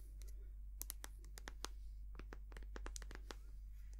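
A white, soft plastic cosmetic cream tube, partly full, is squeezed, tapped and scratched with long nails. Quick, sharp, bright clicks and crinkly scratches land in irregular bursts, each dying away almost at once, over a steady low hum.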